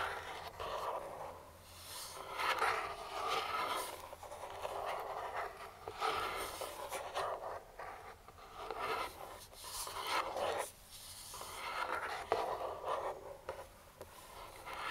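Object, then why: Cardboard box. Pointed metal claw finger rings scrape and trace across a printed cardboard speedlite box lying flat and hollow. Soft, dry scratching strokes swell and fade in slow waves, with a papery rasp centered in the midrange and some brighter hiss on top. The hollow box gives the strokes a slight boxy resonance.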